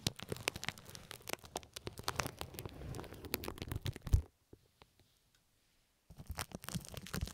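Loose pink plastic film draped over the microphone ears is crinkled and scratched by one hand's fingertips and nails, producing dense, rapid crackles with a heavy low thumping body and bright sharp snaps. After a loud pop, it falls nearly silent for about two seconds except for a few faint ticks, then the crinkling and scratching resume.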